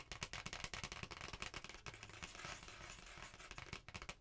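Long painted nails of both hands scratch and tap a thin, flat red printed cardstock Christmas card held close up. Quick, dry, bright taps and scratchy rasps come in a rapid, uneven patter, with short papery crackles between them and almost no ring after each touch.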